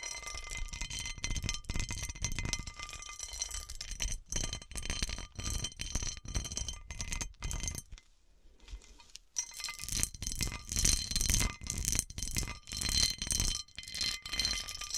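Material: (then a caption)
Glass. Long nails scratch and tap the textured star pattern on an upside-down, hollow, round cut-crystal glass serving dish. The result is a dense stream of bright, short clinks and rattling scrapes. There is a brief quiet gap around the eighth second before the tapping resumes.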